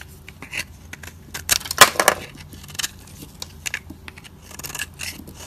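A solid, dry white soap bar held in the fingers has its edge scraped with a metal utility blade, shaving off fine powdery flakes. Short, irregular, dry crackling scrapes sound with a bright, gritty texture, with the loudest, densest burst of scraping near the middle before trailing off into lighter strokes.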